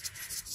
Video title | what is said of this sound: AIRCON TIDAK SEJUK APA MASALAH PROTON WAJA 4G18 -- JOM SAKSIKAN.. | Kalau Anda dengar dia punya bunyi ada satu macam ada pasir-pasir ataupun bearing di bahagian dalam ni sudah longgar, sudah jadi kecil.